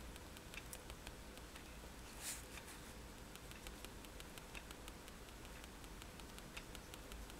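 A fineliner pen tip is tapped rapidly on a flat sheet of white drawing paper resting on a table, making dots. A quiet, steady run of light, bright ticks patters over a soft hiss, with one slightly louder tap near the middle.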